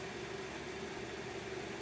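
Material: Nothing is struck.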